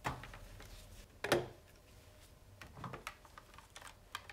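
A fingertip repeatedly presses and taps the plastic keypad buttons on a hollow, red plastic wall-style push-button telephone base, held in one hand and lifted off the table, with the handset lying on the table beside it. The result is a series of dry, clicky, keyboard-like taps with very short decay, including one louder, sharper click near the start.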